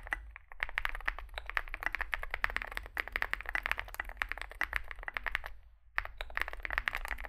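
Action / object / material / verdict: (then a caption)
tap / mechanical keyboard with metal case and plastic keycaps / aluminium, plastic / none. A compact 65% Zoom65 mechanical keyboard with an aluminium case, foam filling, lubed switches and SA plastic keycaps sits on a desk mat while both hands type continuously with their fingertips. It produces a rapid, dense stream of short, crisp clacks centred around 1.8 kHz, with a low steady hum underneath. The typing briefly pauses just before the six-second mark, then resumes.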